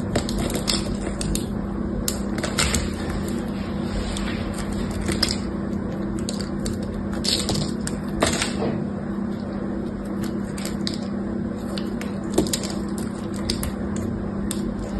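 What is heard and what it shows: A hand-sized, partly carved bar of solid green soap is held in one hand while a small metal blade shaves and scrapes its edges, dropping curled shavings onto a blue surface. The clip is a steady stream of soft, dry scraping with crisp, crackly strokes and brief bright clicks over a constant low hum.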